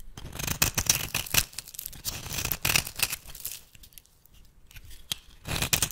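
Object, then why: Bar of soap. A metal blade shaves thin curls off the edge of a solid rectangular bar of rancid cream soap held in the hand. Irregular bursts of bright, crisp scraping carry a soft low thud beneath them. A quieter pause near the middle comes before the scraping picks back up at the end.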